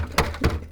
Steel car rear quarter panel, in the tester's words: i'm knocking it you hear all that rust